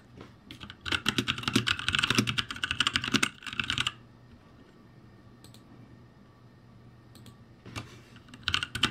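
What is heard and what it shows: Fingertips press and tap the plastic keycaps of a backlit ROCCAT G65 mechanical keyboard, producing a fast run of bright, sharp clacks for about three seconds. After a quiet stretch with a faint steady hum and a few isolated clicks, a short burst of typing resumes at the end.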